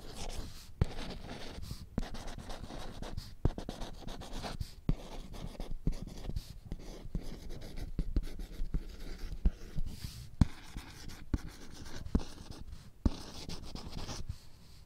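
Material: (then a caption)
Laminated plastic. Long nails scratch back and forth across the printed letters of a small children's alphabet whiteboard with a glossy laminated surface and a green plastic frame. The result is a steady, low, rumbling scrape broken by many sharp ticks and clicks, with occasional faint higher squeaks.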